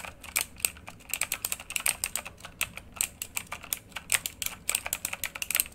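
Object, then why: Mechanical computer keyboard with plastic keycaps. Both hands type rapidly with their fingertips on a full-size, backlit RGB mechanical computer keyboard with plastic keycaps and a hollow housing, lying flat. The result is a fast, uneven stream of short, bright clacks that stop at once, with almost no low end and little else in the background.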